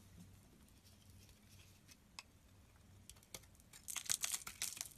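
A solid green soap bar stamped EXXE is held in the hand and shaved with a snap-off utility knife blade, flaking off green curls. After a quiet stretch with a faint low hum and a few isolated scrapes, a rapid, uneven run of bright, crisp scraping and crackling bursts follows in the final second.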